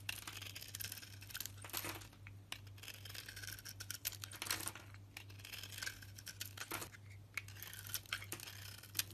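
A solid green-striped soap bar with a yellow inside, held in one hand, is shaved and carved with a box cutter blade that scrapes away the outer layer. The cuts make a dense run of crisp, bright scraping and crackling with quick sharp ticks. A steady low hum sits underneath throughout.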